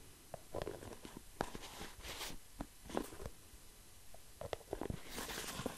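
Fingertips and nails tap and scratch the orange plastic lid of an orange and white plastic hair mask jar that is likely full. The sound is quiet, with soft, dull, irregular taps and brief scratchy rustles that stop short with almost no ring.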